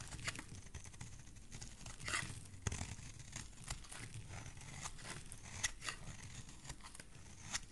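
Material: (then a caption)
Soap. A metal blade repeatedly shaves a solid oval green soap bar, sending curls of soap falling away. Each stroke gives a short, crisp scraping rasp with a bright, papery edge over a steady low, soft rumble, and a few strokes land sharper and louder than the rest.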